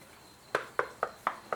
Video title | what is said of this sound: Tikka T3x Stainless Varmint in 243, first look | it sounds solid